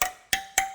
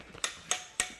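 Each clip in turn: First: Three sharp metallic pings with a clear tone near 770 Hz; a tight steel spoke that rings. Second: Three bright metallic ticks that die away quickly: a steel wheel spoke tapped with a wrench, sounding slack.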